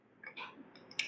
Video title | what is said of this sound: “Bunyi Muncul, Kereta Tak Stabil — Macam Mana Nak Cari Punca Sebenar?” | Ketak ketak ketak ketak ketak ketak